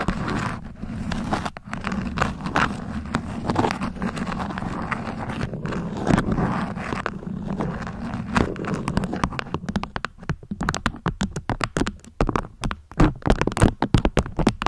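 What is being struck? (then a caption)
Beeswax-coated cotton food wrap. A beeswax-coated cotton food wrap is folded while long nails scratch and pinch the crinkly waxed cloth. Steady, dense scratching and rustling fills the first ten seconds, then gives way to sharper, separate crackles and snaps toward the end. The sound is close and muffled, with most of its weight in the low range and little bright top.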